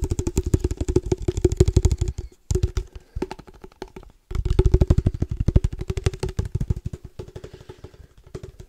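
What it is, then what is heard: Tapped padel ball case. A padel ball case is tapped rapidly with the fingertips, producing a dense stream of dull, low, hollow thumps with a faint ringing tone running through them. The tapping comes in fast, uneven bursts, briefly stopping twice before starting up again.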